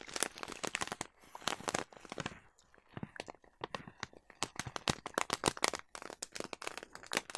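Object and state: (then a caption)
Plastic bag of oats, crinkled. A large yellow plastic bag of oats is held close and crinkled and scratched with long nails. The result is a dense run of sharp, dry crackles and crunches with bright, high edges and little low end, pausing briefly before building again.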